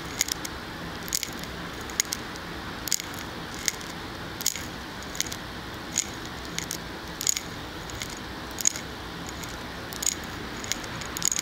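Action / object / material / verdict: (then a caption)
tap / glass candle jar filled with wax / glass / none. Fingernails tap on the glass side of a large glass candle jar filled with solid wax, held close to the microphone. Sharp, bright clicks with a brief high glassy ring land at an irregular pace over a steady soft hiss, some taps coming in quick little clusters.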